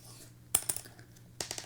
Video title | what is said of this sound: All About Guitar Picks - Live Guitar Lesson | That last one, the light one, sounds like glass to me. It totally does.